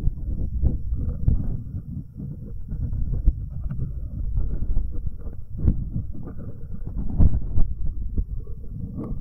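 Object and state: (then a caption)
Metal microphone capsules rubbed with fingertips. Fingertips in rubber finger cots rub the metal capsules of a binaural microphone, first the left one and then both. The result is a dense, low, muffled rumble of scratchy, thumping contact noise. Brief sharper bumps rise out of it now and then, and there is almost nothing in the highs.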